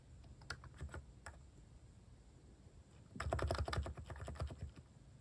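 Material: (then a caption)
Plastic. Fingertips type at a moderate pace on a compact plastic mechanical keyboard with plastic cat keycaps. A few scattered, soft clicking keystrokes give way to a denser burst of typing about three seconds in. The keystrokes have a low, muted body and short, crisp tops.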